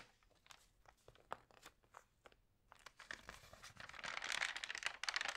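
Fingertips and long nails press, rub and turn the thin glossy pages of an open printed magazine lying flat. Sparse, quiet crinkles and short bright ticks come first, then the crinkling builds into a dense, louder rustle of paper in the second half.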